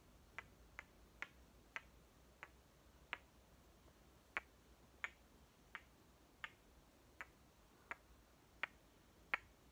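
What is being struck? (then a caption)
Painted wooden toy watermelon halves. Halves of a painted wooden toy watermelon, with red flesh and a white circle on the cut faces, are clicked against each other and tapped with fingertips. Fourteen short, bright, dry clicks sound at an uneven pace over a quiet, faint hiss, each dying away at once with no ring.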